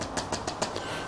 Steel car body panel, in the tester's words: that sounds like metal. So that's a good thing.